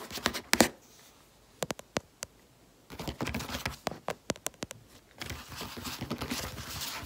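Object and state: Paper planner pages.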